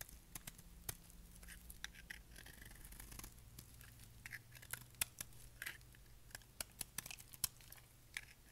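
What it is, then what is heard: Dry soap bar being shaved. A solid, dry, dark grey bar of soap is held in the hand and shaved with a utility knife blade. Sharp, bright scraping crackles and crisp clicks come in quick irregular bursts over a faint, steady low hum.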